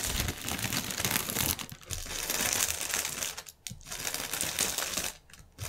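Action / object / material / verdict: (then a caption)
scrape / inflated polyethylene air cushion packaging / polyethylene film / none. A strip of inflated, hollow, air-filled clear polyethylene air cushions lies on a table while fingernails scratch and press the film. This produces dense, bright crinkling and crackling with short quiet gaps, mostly high in pitch with little low end.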